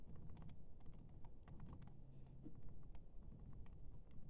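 Fingertips and short painted nails press and tap the black plastic keys of a silver laptop's built-in keyboard while typing. Quick, soft, bright clicks and taps come in a steady, uneven stream over a low, dull background rumble.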